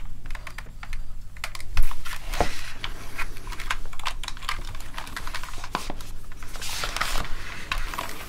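A plastic gaming keyboard lying on a desk is typed on rapidly with the fingertips of both hands, producing a dense run of quick, clicky keystrokes. The taps are sharp and bright over a low, steady hum, and one heavier thump stands out near the two-second mark.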